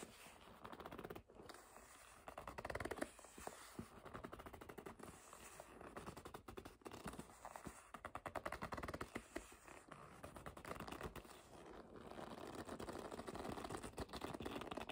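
Long nails grip and scratch the leather of a hollow black leather bag held upright. Quiet, dense scratching and squeaky rubbing come in rapid crackling bursts that swell and ease throughout.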